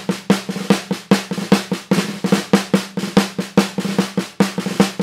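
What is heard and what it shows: A Mapex 14x5-inch maple snare drum, a hollow wooden shell with a coated plastic head, is tapped and rolled with wooden drumsticks in about seventeen quick strokes in loose, uneven rhythm. Each stroke gives a sharp, bright crack with a short ring and a tone around 195 Hz, dying away fast between hits.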